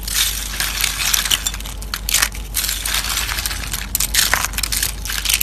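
Fingertips crush and crumble a pile of thin, hollow, dried orange soap curls in a white plate. The result is continuous dense, bright crackling and crunching with short brittle snaps, over a faint low hum.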